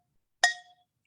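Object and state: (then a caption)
Ceramic plant pot tapped to check for cracks. A ceramic plant pot is tapped gently once to check for hidden cracks, giving a single bright clink. The clink has a clear ringing tone that fades within about a third of a second.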